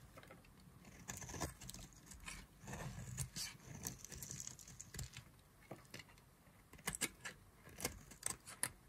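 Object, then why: Bar of soap cut with a knife blade. A solid yellow-and-white striped bar of dry soap, held in the fingers, is carved with a knife blade so flakes fall off. Quiet, dry scraping and shaving runs throughout, broken by short, crisp, bright clicks and snaps that grow sharper toward the end.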